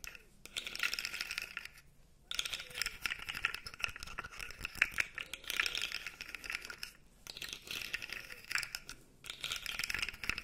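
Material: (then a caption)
Plastic. A blue segmented plastic fidget toy, held vertically, has its segments flexed and scratched with nails. This produces dense, bright clicking and crackling rattles in bursts, separated by brief quiet gaps.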